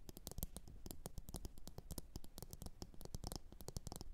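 Long orange nails tap rapidly on a medium glossy blue ceramic bowl, hollow and empty, resting upside down on a fur mat. The taps are quick, quiet clicks with a bright edge over a soft low thud, each dying away almost instantly with no ringing.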